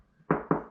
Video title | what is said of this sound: Détecter les murs porteurs et cloisons semi porteuses (danger ⚠️) | Là, ça sonne creux.